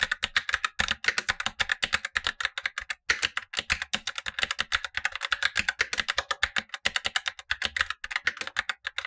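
Blue-gloved fingertips type steadily on a Razer BlackWidow Lite, a tenkeyless plastic mechanical keyboard with black plastic keycaps and tactile switches, set as the upper of two keyboards while the lower one stays untouched. The result is a fast, continuous stream of short, dry, bright clacks with almost no low end, each keystroke dying away quickly, with a brief pause near the three-second mark.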